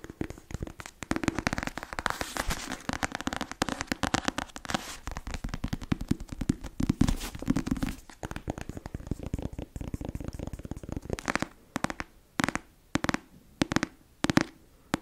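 Long acrylic nails tap and scratch the glossy cover of a closed, black-covered paperback novel held up in one hand, its solid paper block giving dull, low-mid thuds. For the first eleven seconds, rapid, dense tapping and scraping run together, then give way to a few sparse, separate taps with quiet gaps toward the end.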